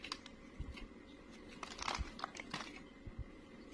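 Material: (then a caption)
Soap. A snap-off utility blade shaves crumbly curls from the surface of a solid, dry beige bar of soap. The scrapes come as a series of soft, dry crunching and crinkling strokes with low thumps and brief bright scratchy bursts, over a quiet, steady background.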